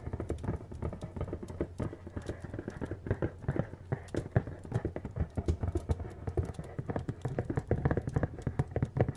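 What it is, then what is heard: Cardboard box tapped and scratched. Fingernails tap and scratch the surfaces of a hollow, medium-sized printed cardboard appliance box held up and tilted. The result is a rapid, irregular stream of soft, dull taps with a low hollow thud, mixed with faint scratching, continuing throughout.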